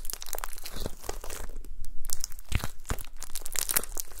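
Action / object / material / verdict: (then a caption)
tap / glitter slime blob / slime / none. A gold glitter slime blob on a table is pressed and poked with long nails and fingertips. It gives a steady run of quick, crunchy, crinkling pops and sticky clicks, with a low, soft body under brief bright snaps.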